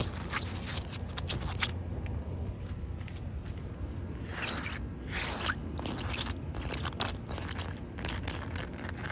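Fingertips and short nails rub and scratch across a solid slab of wet outdoor concrete pavement with puddles. The result is a steady, gritty, crunching scrape with a heavy low rumble underneath and many brief, bright scratchy bursts.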